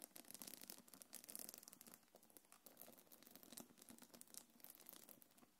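Long nails scratch along the gold metal chains and the quilted surface of a small black quilted faux-leather belt bag held in hands. The result is a dense run of quick, quiet, bright scratching and light rattling taps, mostly high-pitched with little low end.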